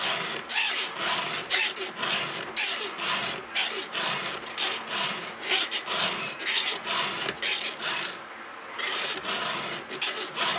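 A round steel file is pushed across a cutter tooth of a thin solid steel 3/8-pitch chainsaw chain held on an upside-down bar. It makes repeated bright, raspy scraping strokes at an uneven pace, with a short pause near the end before the filing resumes.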